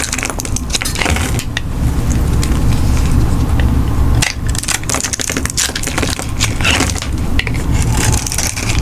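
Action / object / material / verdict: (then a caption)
scrape / bar of soap cut with a metal knife / soap / none. A metal knife blade scrapes and cuts into a hand-sized, solid, dry black soap bar with a grid-scored surface, held in one hand, while crumbly soap pieces fall onto a pile of pink and black shavings. The result is a steady, dense crunching and crackling over a heavy low rumble, with irregular bright scraping bursts that briefly dip just past the midpoint before picking up again.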